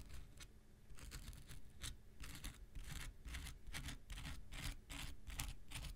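An X-Acto knife blade is scraped across the surface and edge of a small rectangular pink nail buffer block made of solid foam with an abrasive coating. Repeated short, gritty scratching strokes come in an uneven rhythm, each a bright, hissy rasp. A steady low rumble runs underneath throughout.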